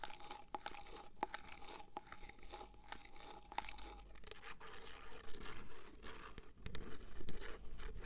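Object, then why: Plastic cream jar with screw lid. Long fingernails tap and scratch a medium white plastic cream jar with a screw lid and a paper label, possibly crinkling the label. Quick, irregular clicks and crunchy scratching sit over a low, dull rumble, and the rustling grows louder toward the end.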